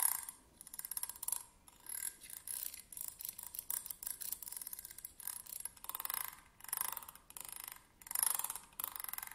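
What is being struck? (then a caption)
Metal tweezers with a ridged grip. Slim metal tweezers lie flat on a table while their ridged grip is scratched back and forth with a thin pointed stick. The sound is a quiet, bright, dry rasping made of rapid ticking clicks, coming in repeated bursts with short pauses and almost no low end.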